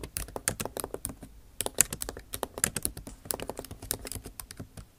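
Long acrylic nail tips type on the bare plastic keys of a backlit MacBook Pro keyboard set in an aluminum body. The result is a quick, uneven run of sharp, clicky taps with bright, high tops and almost no ring after each one. Brief pauses break up the typing bursts.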